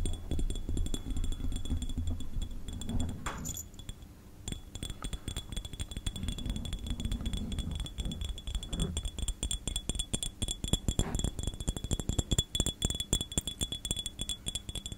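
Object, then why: Small glass jar. A small, clear, empty hollow glass jar with a screw-thread rim is held in both hands close to the microphone and tapped with fingertips and nails. The result is rapid, irregular clinking and tapping with short, bright glassy rings over a soft low rumble of handling.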